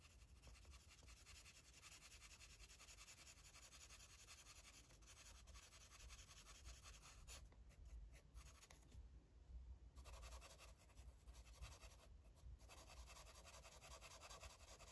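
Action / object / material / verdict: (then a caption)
scrape / felt-tip marker rubbing on a paper coloring book page / paper / none. A light blue felt-tip marker rubs back and forth across the page of an open paper coloring book lying flat on a table. The result is a quiet, continuous scratchy rubbing with a bright hiss over a low hum, and the bright scratch briefly drops away a few times before resuming.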